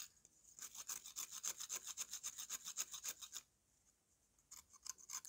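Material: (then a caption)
Dried mud. A metal knife blade scrapes quickly back and forth across the surface of a solid slab of dry brown mud held in one hand, slowly wearing the slab down. The steady, bright, gritty scraping strokes run for about three and a half seconds, pause briefly, then resume near the end.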